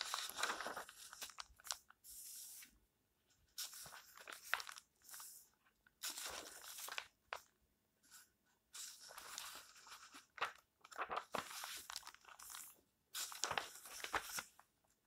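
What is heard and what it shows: Fingertips with nails brush and turn the paper pages of a small open paperback lying flat, making soft, bright rustles and crunches. The sound comes in short bursts separated by quiet pauses, each scrape crisp with almost no ring.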